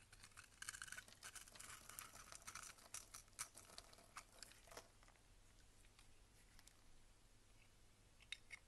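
A box-cutter blade scrapes small cubes off a solid, rectangular, cream-colored bar of soap held in the hand. Quick, dry crackles and scratchy ticks come densely in the first half, then thin out to sparser, bright snaps over a faint, steady low hum.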